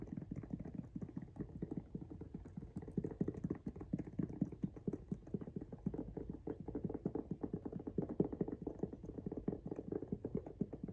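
Fingernails of both hands rapidly tap and scratch the pink rubber outsole of a Jordan 1 High "Washed Pink" sneaker held up close. The result is a dense run of quick, dull, low-mid clicks and scrapes that die away almost instantly, with no ringing and little brightness.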